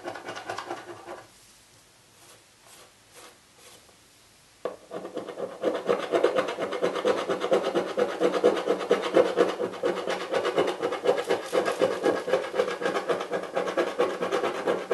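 A coin edge scrapes the scratch-off film on the lid of a hollow, printed Birchbox cardboard box near the logo. A brief rasp is followed by a few seconds of near-quiet with faint soft scuffs, then a sharp onset into continuous, dense, gritty scraping with a midrange papery hiss that lasts to the end.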